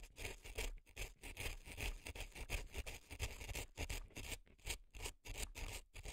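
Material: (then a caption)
Floral foam. A reddish earpick scrapes dry floral foam packed into a left silicone elf ear. The result is a quick, irregular run of crisp, crunchy scratching strokes with a bright, gritty hiss over a soft low rumble, each stroke stopping dry without ringing.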